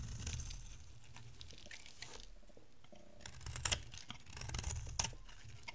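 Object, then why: Bar of soap shaved with a blade. An oval, solid yellow bar of dry soap is shaved with a box-cutter blade into thin strands. The result is quiet, crisp scraping and crackling with bright, brief snaps over a soft low rumble, with a few sharper cuts standing out near the end.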